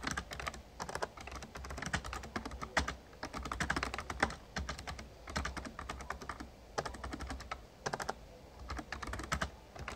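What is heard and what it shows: Rapid key taps from the fingertips of both hands on an RGB-backlit plastic Razer Ornata Chroma membrane gaming keyboard with a hollow casing. The clicks are short, dry and clattery, arriving in quick bursts with brief pauses, centered in the mid range with a bright edge. A faint low hum sits steadily underneath.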